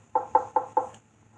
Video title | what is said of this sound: X pole build | the sound will change from hollow to solid the solid sound is where the joist is